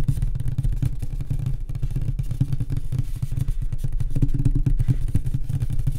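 Both hands tap fast with fingertips and short nails on the flat, solid light-wood panel top of a nightstand. The result is a dense, continuous stream of dull, low, woody knocks with a short ring and almost no bright content.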